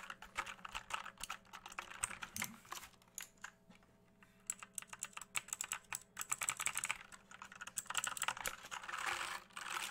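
Fingertips tap quickly on the plastic keycaps of an RGB mechanical keyboard with a hollow case, producing dense, bright, hollow clicks that pause briefly before resuming. Near the end, the keyboard is moved quickly and shaken, giving a longer rattling wash of sound.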